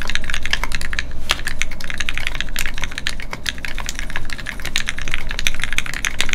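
A Keycult No2 Rev1 mechanical keyboard with Gateron Ink switches and red plastic keycaps, resting on a desk mat, is typed on continuously with the fingertips of both hands. A rapid, steady stream of short, bright clacks with very quick decay plays over a low, constant hum.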